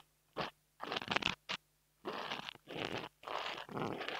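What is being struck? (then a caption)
Foam microphone windscreen. A long almond-shaped nail scratches and taps a small, soft, porous black foam windscreen on a mini microphone held in the fingers. Six separate bursts of dry, bright, crackly scratching are heard, separated by silence, with little low end and almost no ring after each stroke.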